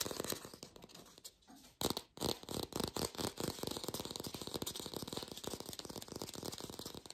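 Rapid fingertip tapping on an artificial plastic green apple, recorded lo-fi without a microphone, gives a fast stream of dry, short clicks with a bright, thin edge. The tapping briefly thins out and drops near two seconds, then resumes at an even, busy pace to the end.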